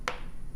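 A solid metal jewellery pendant component from a kit is tapped on a table to show how solid it is. It gives a short, sharp clink with a ringing tone around 500 Hz and brighter overtones that die away within about a tenth of a second. The piece sounds solid and does not bend.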